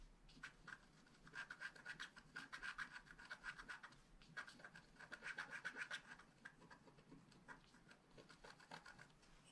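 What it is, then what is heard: Scratch art card being scratched. A wooden stylus scratches and rubs the coating off a flat black scratch art card made of wax-coated paper. Quick, irregular rasping strokes with a bright, papery edge repeat continuously, each one short and dry with no ring.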